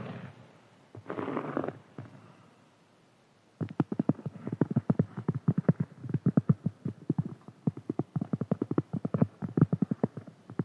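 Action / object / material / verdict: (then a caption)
scrape / cork board / cork / none. Fingernails and fingertips of both hands scratch a large, round, flat, solid cork board resting on a table. It starts with a few soft, breathy scraping strokes, then shifts into a rapid, uneven run of short, dull, low-pitched scratchy taps that die away almost instantly.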